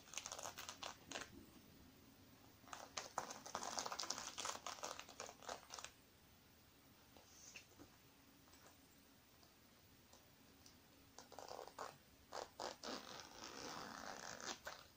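Long painted nails scratch and tap across a small, soft, black sequin-covered zippered makeup pouch that appears filled with makeup while it is held in the hands. Bursts of bright, crinkly scratching and quick taps fill the first six seconds, fade to near silence in the middle, then return toward the end.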